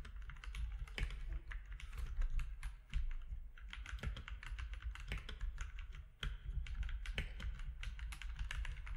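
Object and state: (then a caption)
Plastic mechanical keyboard. Both hands type with their fingertips on a compact mechanical keyboard with plastic keycaps, producing a quick, steady stream of short, sharp clicks and clacks with bright edges. A constant low hum sits underneath the whole time.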